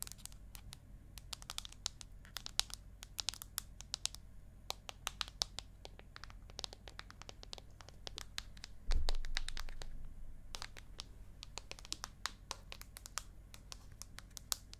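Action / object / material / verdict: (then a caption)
tap / aluminium tablet back / aluminium / none. Long acrylic nails tap and scratch the aluminium back of an iPad mini held at an angle, which is lowered at the end. Sharp, bright, dry clicks come in an irregular patter over a steady low hum. A louder low thump with a brief decay sounds partway through.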